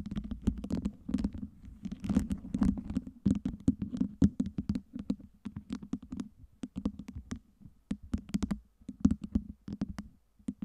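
Long nails tap and scratch a tower of clear acrylic fake ice cubes lit by LEDs, making dozens of quick, dry, clicking taps with short scraping strokes over a steady low hum. Each tap dies away almost instantly, and the taps come in uneven bursts across the clip.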